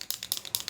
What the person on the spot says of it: When you shake it, you'll be able to hear that sound